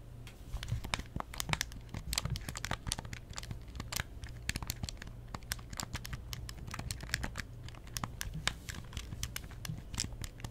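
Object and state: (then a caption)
Plastic handheld game console. Long nails rapidly tap and scratch the glossy plastic surfaces of a closed, hollow pink plastic Nintendo DS Lite held in both hands. The result is a dense stream of short, dry, bright clicks and crinkly scratches over a steady low hum.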